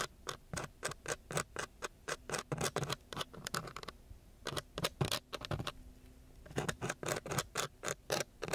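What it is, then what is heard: Sandpaper sheet being scratched. The tip of a thin wooden stick scratches and taps across a coarse brown sandpaper sheet, making rapid, uneven bursts of dry, gritty rasping with short, bright edges. The strokes come in quick runs with two brief quieter pauses, then pick up again to the end.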